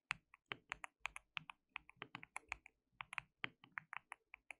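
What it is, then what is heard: Plastic mechanical keyboard being typed on. Both hands type continuously with their fingertips on a compact white-cased mechanical keyboard with a hollow case, white and pink plastic keycaps and RGB backlight. About 26 quick, sharp, bright plastic clacks are heard, each dying out almost instantly with very little low end. The result is a quiet, steady patter of separate key presses.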